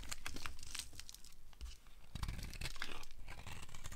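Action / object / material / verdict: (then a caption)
scrape / bar of soap / soap / none. A metal blade carves crumbly shavings from a solid, dry orange soap bar held in the hand. Dense, crunchy scraping and crackling come in rapid, irregular strokes, easing briefly just before the two-second mark and then building again. The strokes have a deep low thump underneath and bright, dry crinkles on top.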